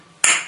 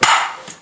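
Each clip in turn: First: One bright, high ping with a brief tail, the crisp answer of a well-bonded ceramic floor tile. Second: Two quick ball bounces on a tile give a bright, hollow-sounding clack that rings briefly, pointing to a void underneath.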